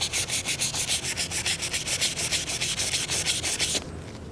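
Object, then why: Stainless steel pistol frame rubbed with a cloth. A disassembled 1911 pistol frame, small and solid stainless steel with wooden grips, is held in one hand over a black mat while the other hand rubs and wipes it with a folded paper towel or cloth patch. Quick, steady back-and-forth strokes make bright, hissing scrapes, about three per second. The rubbing stops near the end, leaving only a faint, quiet hiss.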